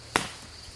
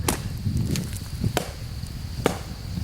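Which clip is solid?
The first.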